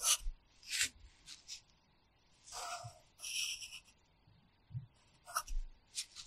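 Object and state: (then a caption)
Pencil writing on a paper notebook. The graphite tip of a red wooden pencil scratches across an open paper practice notebook lying flat, making repeated short strokes while writing characters. Bright, high, raspy scratches come in separate bursts with quiet gaps between them, along with faint low taps as the pencil meets the page.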